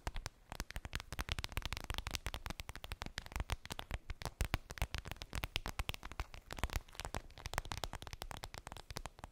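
Long acrylic nails tap and scratch a clear vinyl zip makeup bag with a daisy print that appears empty. The result is a rapid, steady stream of sharp, crinkly clicks and scrapes that die away almost instantly, with a dull, low thump under each tap.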